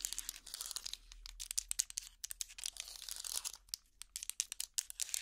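A hot pad made of small solid wooden blocks linked together is held up and scratched with long plastic finger picks. The result is a rapid run of dry, bright, crackly scratches and clicks in short bursts, with almost no low end and no ring after each stroke.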